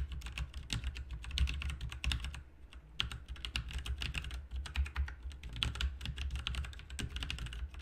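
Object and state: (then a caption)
Mechanical keyboard being typed on. Fingertips type continuously on a full-size backlit plastic mechanical RGB keyboard with plastic keycaps resting on a desk. The result is a fast, dense stream of short, bright clicks and clacks over a steady low hum, with a brief lull near the middle before the typing resumes.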